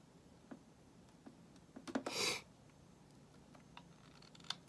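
A solid white bar of soap, held in the hand, is shaved with a metal utility knife blade, peeling off thin curls. Short, crisp scraping ticks come one at a time. Midway there is a longer, bright, hissing shave stroke before the quiet ticks resume.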